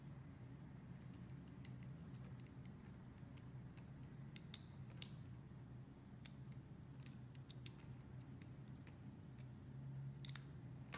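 A metal utility blade slices and scrapes curls off a hand-sized, solid white soap bar with colored flecks, worked by hand. Soft, brief bright ticks and crisp scraping flicks are scattered through the clip over a steady low hum. The sound stays quiet and even throughout, with no ringing after each cut.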